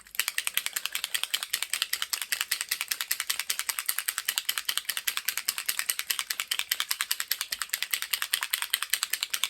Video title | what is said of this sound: Creative Stamping 126 - Alcohol Ink Feature ~ Tim Holtz and some Drivel | And you want to shake it so you can hear that ball rattling.